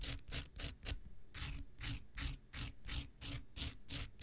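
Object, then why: Foam nail buffer block scratched with a knife tip. The tip of an X-Acto knife blade scratches a pink, palm-sized nail buffer block of solid foam with an abrasive surface, held in one hand. Quick, raspy scraping strokes come about three per second with a brief pause near the one-second mark. Each stroke is a bright hiss over a dull low rubbing, with no ring after it.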